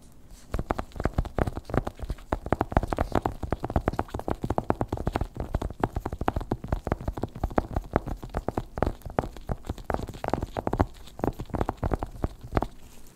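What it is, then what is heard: Cardboard box. Fingertips in black nitrile gloves tap and scratch the lid of a long, narrow, hollow white cardboard Apple Pencil (second generation) box lying on a fluffy white rug, with loose plastic wrap beside it left untouched. A steady stream of rapid, dull, hollow taps with very short decay fills the clip, deep and muffled, with soft scratchy brushing between them.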